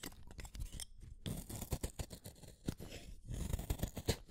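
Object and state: Wooden colored pencil being shaved.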